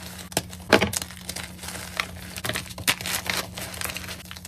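Both hands squeeze and crumble broken chunks of a white gym chalk block (magnesium carbonate) among loose powder in a container. Dry, bright crackling and gritty crunching come in uneven bursts, with a sharp snap near the start, over a faint steady low hum.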